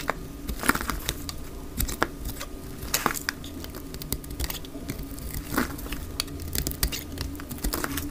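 A knife blade shaves thick strips from a dry, solid, oval, light green bar of soap held in the hand. The sound is a steady dry scraping and crackling, broken by frequent sharp, crisp snaps as strips break away, over a low background hum.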